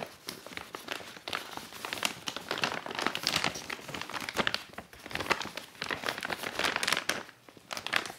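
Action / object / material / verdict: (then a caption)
scrape / reusable laminated woven polypropylene shopping bag / polypropylene / none. A single empty, medium-sized reusable grocery tote of laminated woven polypropylene, printed with a sunflower-field scene and trimmed with black fabric, is gripped by fingertips and nails and folded flat. The plastic laminate gives a steady run of dense, bright crinkling and crackling as it flexes and rubs, with no striking and little low end.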